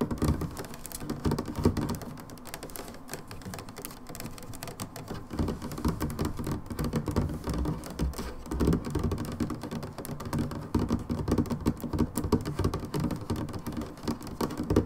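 Long nails on both hands tap rapidly along the sides of an upright brown plastic hydrogen peroxide bottle that appears full. The result is a steady, dense patter of dull, low-pitched plastic clicks with very little high-frequency brightness.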